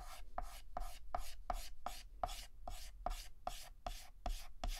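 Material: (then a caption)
Chalk. Fingertips hold a yellow chalk stick and shade a petal on a flat, solid black chalkboard with rapid, short back-and-forth scratches. Each stroke is a gritty, bright scraping burst with a faint tone near 720 Hz, repeating at a quick rhythm of about two to three strokes per second over a low background rumble.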